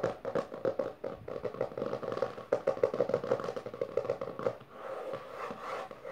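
Long dark-painted nails and fingertips of both hands fast tap and scratch the front cover of a closed, solid hardcover book with a maroon textured cover, lying on purple fabric. Quick, dry clicks and taps tumble out in an uneven rush with a hollow mid tone and almost no ring. In the last second and a half they ease into a steadier scratching rasp.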